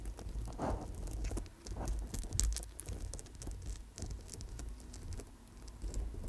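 Long nails lightly tap and scratch the clustered stone chips of an amethyst chip bracelet on a gold-tone wire coil, held in front of the microphone. The result is a soft, irregular patter of small bright clicks and scratchy rustling over a steady low rumble, with each tick fading almost at once.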